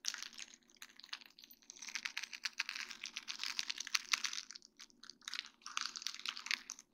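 Long dark-painted nails tap and scratch across a flat sheet of small faceted acrylic rhinestones on a plastic mesh backing. The result is a dense run of crisp, bright clicks and scratchy ticks with almost no low end, coming in busy bursts that briefly thin out near the five-second mark and again at the end.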